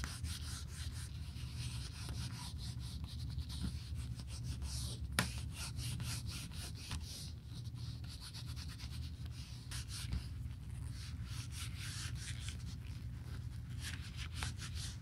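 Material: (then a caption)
Leather. A gloved finger wrapped in a cloth rubs over the inner leather surface of an open, empty black smooth leather Burberry bifold wallet with card slots. A steady, low, muffled rubbing continues throughout, with faint bright, scratchy strokes from the cloth dragging across the leather.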